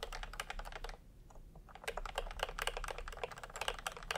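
Fingertips of both hands type continuously on a full-size pastel plastic typewriter-style keyboard with round plastic keycaps in a hollow plastic case. Rapid, irregular, bright clicky keystrokes are heard, with a short pause near the first second before the typing picks up again.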